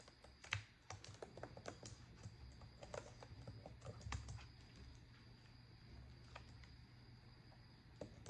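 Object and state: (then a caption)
Plastic laptop keyboard. Rapid typing with long acrylic nails and fingertips on a black plastic laptop keyboard gives a quick run of sharp, bright key clicks. Soft ticks fill the gaps between the louder taps over a low steady hum.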